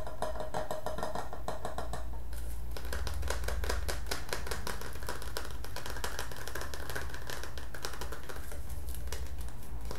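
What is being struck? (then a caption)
Metal tin can with lid. A green printed metal Milo tin, hand-sized and hollow with its lid on, is held in the hands and tapped with the fingertips on the lid and sides. The result is a fast, steady run of light metallic clicks over a constant low hum, with the tapping shifting to a denser, more scattered pattern after about two seconds.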